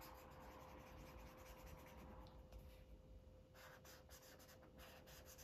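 A Sharpie felt-tip marker rubs rapidly back and forth across a thin white paper coloring book page lying flat while coloring cupcakes. The result is a quiet, steady, scratchy rubbing with bright papery swishes over a low background hum.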